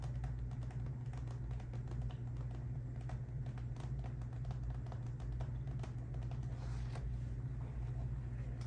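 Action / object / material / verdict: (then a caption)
tap / clear vinyl zip pouch tapped with long nails / vinyl / none. A small clear PVC/vinyl zip pouch filled with colorful confetti and holding items inside is held in one hand and tapped and scratched with long acrylic nails. Quick, light clicks and scratchy ticks repeat throughout over a steady low hum. The level stays even and fairly quiet the whole time.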